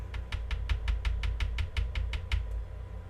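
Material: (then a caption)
Plastic. A single plastic press-on nail, decorated with 3D roses, rhinestones and silver leaves and strongly curved, is taken from its set and tapped 13 times in a steady run. Each tap is a short, bright, dry click that dies away almost instantly over a low background hum. The nail sounds sturdy and hard, like acrylic.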